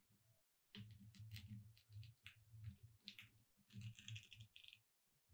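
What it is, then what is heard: Glitter-coated foam sign, tapped with fingernails. Long red nails tap along the letters at the left end of a thin, solid, gold glitter-coated foam "Merry Christmas" cutout sign lying on a dark cloth. The clicky taps come in quick bursts that sound dull and low, with a bright crackle on top.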